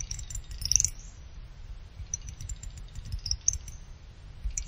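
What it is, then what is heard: Aluminum CPU heatsink. Fingertips and nails scratch and tap the top fins of a small finned aluminum CPU cooler heatsink, producing bright, short metallic clicks and faint tinkling ticks. A brief flurry of louder taps comes near the start, followed by sparser, quieter ticks over a low, steady rumble.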